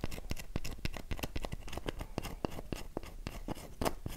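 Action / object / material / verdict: scrape / bar of soap / soap / none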